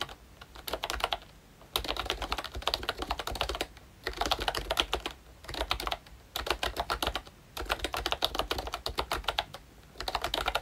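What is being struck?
Plastic membrane keyboard with round keycaps.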